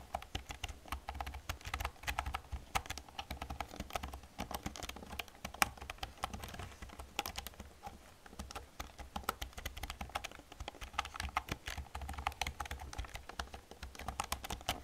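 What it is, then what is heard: Plastic computer keyboard being typed on. Long red-painted nails type quickly on a black full-size plastic computer keyboard with hollow keys, pressing across the keys with fingertips and nails while a mouse sits nearby untouched. The result is a steady, dense stream of short, bright plastic clacks and clicks with a hollow tone, over a faint low hum.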